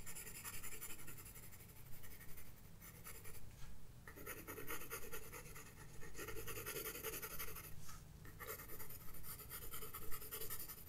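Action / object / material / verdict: scrape / graphite pencil on a paper sketchbook page / paper / none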